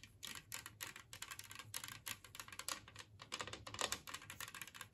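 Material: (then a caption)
Ceramic. Long nails on both hands tap quickly across the glazed surface of an empty, large, flat, green ceramic Christmas-tree-shaped plate. The result is a rapid, continuous patter of short, bright clicks with almost no ring or low end.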